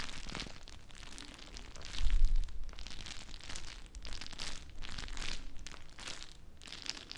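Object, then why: Plastic bag filled with gel water beads. Fingertips with long nails squeeze and crinkle a small, full, clear plastic bag of teal gel water beads held close to the mic. Bright, crackly plastic rustles and squishy pops come in repeated bursts, with a louder, heavier low-end squeeze around the two-second mark.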